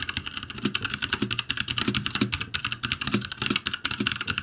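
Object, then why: Mechanical keyboard, plastic keycaps. Both hands type with their fingertips on a backlit ROCCAT G65 mechanical keyboard with plastic keycaps, giving a fast, steady stream of bright, clicky keystrokes over a soft low thud from each key bottoming out. The presses run close together with only brief gaps and no other sounds.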